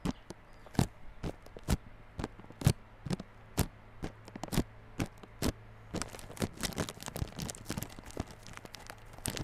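Fingertips tap and scratch the wrapped front face of a small yellow cardboard Realme Buds Classic earphone box sealed in clear plastic film. Sharp, dry taps with bright crinkly edges come at an uneven pace, growing into denser scratching toward the end. A faint, steady low hum runs underneath throughout.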